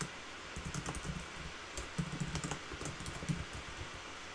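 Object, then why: Plastic laptop keyboard. Fingertips of both hands type continuously on the keys of a black backlit plastic laptop keyboard. Soft, quick plastic taps come in uneven bursts over a low background hum, each click short and dry with a light bright edge.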